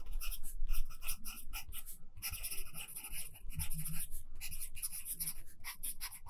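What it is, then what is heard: Pencil writing on notebook paper. A pencil held in the right hand scratches across a handwritten page of an open lined paper notebook while writing. Bright, papery scratching comes in short, irregular bursts of strokes, with a soft low thumping underneath throughout.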